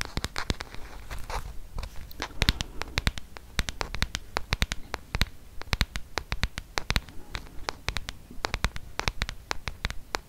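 Fingertips and nails tap and scratch the plastic back and edges of a solid, handheld black smartphone held close to the mic. The result is a rapid, irregular stream of short, crisp clicks and bright scratchy ticks over a low, soft rumble.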